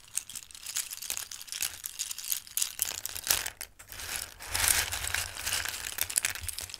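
Raw dried pasta shapes are lifted in cupped hands and poured back into a bowl of pasta. Dense, bright shuffling and pattering clicks of the hard pieces rise and fall in waves, with little low end.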